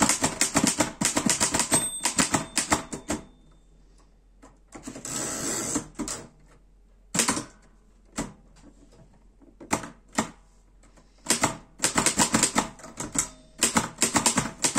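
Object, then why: Metal portable typewriter. Fingertips type on the keys of a black metal Erika 5 portable typewriter, producing rapid bursts of sharp, bright clacking with a brief ringing tone early on. A softer rushing noise follows after a pause, then a few scattered single key strikes before fast typing resumes to the end.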